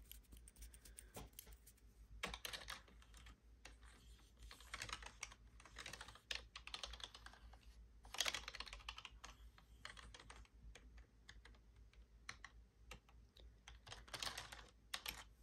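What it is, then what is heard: Plastic computer keyboard. Long blue acrylic nails tap and type on the hollow keys of a full-size black plastic computer keyboard with a palm rest, on a hand wearing rings. Quiet, bright, crisp clicks and clacks come in quick bursts with brief pauses between them, each hit dying away almost instantly.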